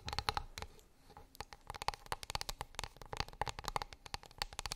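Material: Wood.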